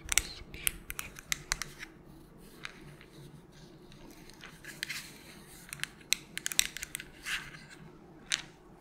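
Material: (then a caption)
Plastic. Long pointed nails tap and scratch a small, hollow white plastic melatonin bottle with a purple cap. Sharp, bright clicks come in irregular bursts, with soft scratchy rustling in between. The sound is thin and high with almost no low end, and each tap dies out instantly.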